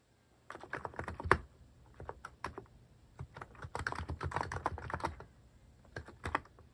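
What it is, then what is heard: Plastic mechanical keyboard. Fingertips type repeatedly on a cream plastic-case mechanical keyboard fitted with cat and paw-shaped plastic keycaps. Rapid runs of short, dry clacks come with a soft low thump under each press. The keystrokes cut off almost at once, with brief pauses between bursts.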